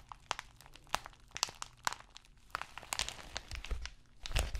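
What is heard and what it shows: An empty white padded plastic bubble mailer envelope is scratched and crinkled by fingertips and nails. Sharp ticks and dry crinkling come at an uneven, unhurried pace, with a bright papery rustle above a faint low rumble. Short, quiet taps break up the soft texture, and a few louder scrapes stand out near the end.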